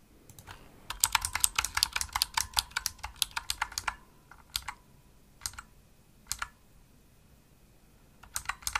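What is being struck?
Plastic mechanical keyboard keys.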